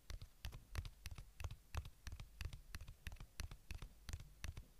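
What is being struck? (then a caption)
Small plastic earbuds charging case. A small white plastic earbuds charging case is held in one hand while the fingertips and nails of the other hand tap and scratch its surface. The result is a quick, irregular run of soft, dull taps with short, bright clicky edges that die away almost instantly.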